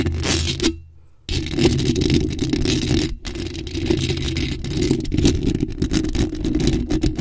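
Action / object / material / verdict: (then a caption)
scrape / metal mesh microphone grille / metal mesh / none. Long acrylic nails aggressively scratch a bare, hollow black metal mesh microphone grille while hands are wrapped around it. The result is a dense, continuous scraping and rattling with a heavy, boomy low rumble and a thin high fizz. It drops to near silence for about half a second early on, then resumes, with a brief dip just after the three-second mark.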